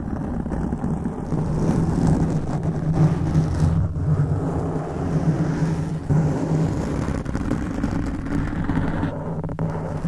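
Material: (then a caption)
Foam. Fingertips of both hands scratch a black foam microphone windscreen. The result is a steady, dense, muffled rumbling scrape that stays heavy and low, with a dull pitch near 82 Hz and almost nothing bright.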